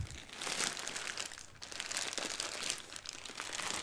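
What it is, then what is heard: Plastic bag of dried beans. A clear plastic retail bag with a blue label, full of about 1 lb of small dried white beans, is held in both hands and squeezed, crinkled and turned with the fingertips so the beans shift inside. The sound is a steady, dense bright crinkle of plastic with grainy rustling and crunch from the beans, with a brief lull in the middle before it builds again.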